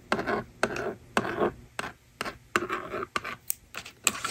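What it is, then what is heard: Plastic magnetic drawing board being scratched with a stylus. A yellow plastic stylus scratches rows of numbers onto the honeycomb screen of a small plastic toy magnetic drawing board resting on a table. Short, dry scratchy strokes come in quick bursts separated by brief pauses, each with a sharp onset and a gritty, bright mid-to-high texture and almost no low end.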